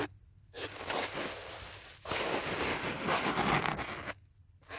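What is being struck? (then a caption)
Foam phone holder. Fingertips and nails scratch and rub along the edges and face of a thick black foam phone holder with a phone inside, held at chest height. Two long, dry bursts of broadband scratching and rustling follow a brief quiet start, separated by a short gap, before it falls quiet again.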